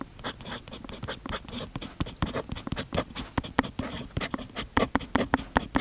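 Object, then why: Paper notebook page under a steel pen nib. A steel fountain pen nib scratches across the page of an open paper notebook lying flat on a desk, half covered by a patterned fabric sheet. Steady, continuous writing strokes produce a run of short, dry, bright scratches and taps with no ringing tail.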